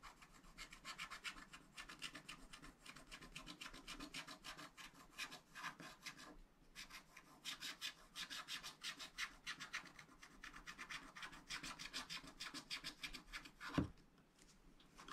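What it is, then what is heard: Wax-coated scratch art paper. A wooden stylus rubs in rapid strokes across a black wax-coated scratch art sheet in a flat spiral pad, filling in a pink building area. A steady run of dense, bright, scratchy rasping strokes continues for about fourteen seconds, with a brief pause near the middle. A single sharper, louder tap comes just before the end, and the scratching then fades out.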